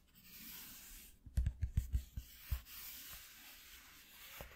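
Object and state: Corrugated cardboard being scratched.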